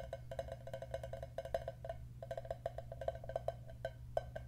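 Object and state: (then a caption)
Cardboard chip tube tapped with fingertips. A hollow, apparently empty green cylindrical potato chip canister of cardboard with a foil lining is held with its open end outward and tapped with the fingertips. It gives a quick, uneven run of short, dry, hollow knocks with a woody tone around 660 Hz and almost no ring. A steady low hum continues underneath, and the tapping pauses briefly near the middle.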